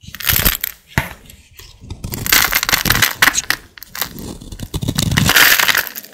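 A hand with long black nails holds a solid, dry green bar of soap and scrapes it with a utility blade. The result is a series of crisp, crumbly scraping strokes with a bright, gritty hiss and short crunching bursts, coming in irregular bursts with brief pauses between them.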